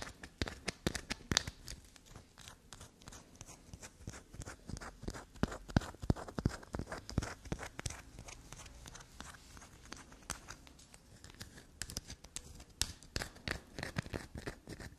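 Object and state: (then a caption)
Black soap bar scraped. A solid black soap bar, held upright, is scraped with long black nails, and shavings fall from it. The result is a fast, irregular run of dry, crunchy scratches and soft taps, dense and broadband with sharp, quickly fading transients.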